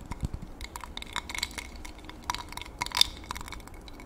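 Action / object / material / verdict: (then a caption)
tap / glass tumbler with water and a thin utensil / glass / none. A clear, medium drinking glass partly filled with water is held in one hand close to the mic while a thin utensil is dipped in and tapped and stirred against the inside. The result is a scattered series of short, bright glass clinks with very little ring, over a soft, steady background.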